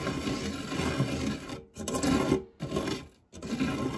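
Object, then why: Metal tart tin with nonstick base. A silicone spatula rubs and scrapes across the dark, textured nonstick base of a shallow, round fluted metal tart tin that is empty apart from crumbs. Four steady scraping passes are broken by brief silences, producing a soft, gritty, low-to-mid friction sound with little high brightness.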